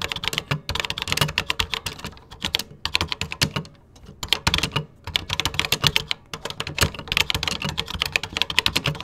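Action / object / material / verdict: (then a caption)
tap / plastic computer keyboard / plastic / none. Fingertips type on the cream plastic keycaps of a vintage plastic computer keyboard, producing rapid, bright, clacky keystrokes with very short decay. The typing runs in quick bursts, with a brief pause near the middle before it resumes at a steady pace.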